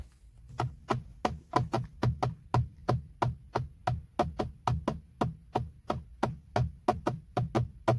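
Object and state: Plastic steering wheel airbag cover.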